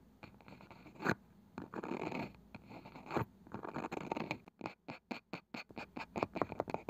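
A palm-sized round wooden box with a woven side is handled: fingernails slowly scratch across its pale wooden lid, giving soft, rough scraping with a couple of sharper clicks. Over the last few seconds, fingertips tap the lid in a quick run of short, dry, separate knocks that die away at once.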